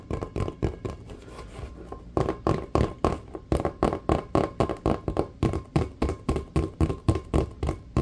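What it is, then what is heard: Rubber basketball. Fingertips and nails tap and scratch a full-size, hollow, inflated checkered rubber basketball, starting with softer, denser scratching and rubbing. From about two seconds on come fast, fairly regular, hollow taps with a low, dull thump and a short ring, around 35 hits in all.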